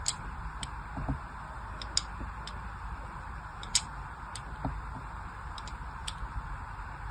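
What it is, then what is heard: Soap bar scored with a blade. A thin blade scores lines across a solid pink-and-white striped soap bar held in the hand. Short, bright scratching ticks sound at irregular intervals over a steady soft hiss and low rumble, each click dying away almost instantly.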